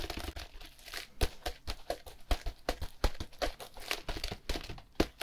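Gloved fingers rapidly scratch and tap the sides of a cube-shaped compressed hay block wrapped in plastic film, held up in the air. A quick, irregular stream of dry crinkles and sharp, brief taps follows, each dying away at once with no ring.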